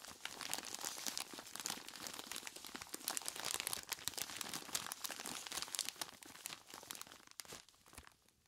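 A large clear plastic bag full of ice cubes is squeezed by hands in knobbly rubber monster gloves. The result is a dense, bright stream of crinkling plastic and crunching ice, with almost no low end, easing off toward the end.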